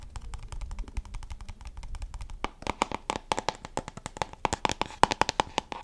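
Long painted nails rapidly tap and scratch the sides of a small, hollow brown cardboard cosmetics box held in one hand beside the microphone. Soft, quick clicking fills the first half, then the taps turn louder and sharper, with a short hollow knock pitched around 870 Hz and bright, crisp edges.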